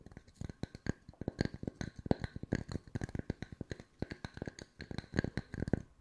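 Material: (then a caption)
Wood. Wooden discs are tapped with the fingertips at mixed speeds, producing a rapid, uneven series of short, dry knocks. The taps are soft and low-toned with a faint brighter click on top, and each dies away almost instantly with no ring.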